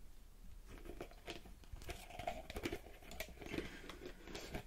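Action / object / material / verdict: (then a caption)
tap / small plastic bottle / plastic / none. A small purple plastic bottle with a pink cap and a barcode label is tapped and scratched by long red-painted fingernails close to the mic. It makes quiet, irregular clicks and scratchy crinkling with short, dry taps that fade almost at once.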